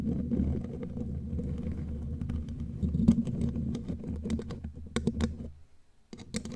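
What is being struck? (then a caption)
Metal mesh microphone grille. Long glittery claw nails tap quickly on the bare black metal mesh grille of a studio microphone. The result is a rapid run of short, clicky taps over a low, rumbling hum that drops out briefly before the sharp tapping resumes.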